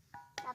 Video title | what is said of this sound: NGOPI di gunung padang sambil jalan jalan,belajar situs PURBAKALA sama kuncen kang DIDI. | bunyinya besi sudah membatu kan